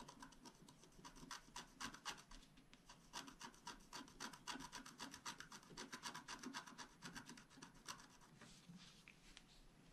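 A flat black-coated scratch art paper sheet lies on a table, held by one hand while a wooden stylus rapidly scratches across its surface. Dense, quick rasping strokes follow one another in an uneven rhythm. They form a dry, bright scratching texture with a faint low body beneath.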